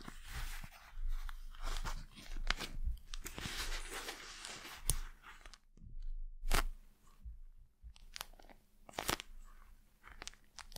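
Long acrylic nails tap and scratch a hand-sized, gel-filled eye mask with a glossy plastic face and a black fabric rim, held close to the mic. The result is crisp, crunchy crackling and sharp clicking taps over a low, close-up rumble, with brief quiet gaps between bursts.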